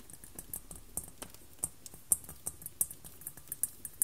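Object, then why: White glass globe. Long black-polished nails on both hands tap and scratch the surface of a large, hollow, glossy white globe crystal ball, possibly milk glass or plastic, resting on a paisley cloth. About twenty quiet, sharp, bright clicks land at an irregular pace, each dying out almost at once, with light scratching between them over a faint low background hum.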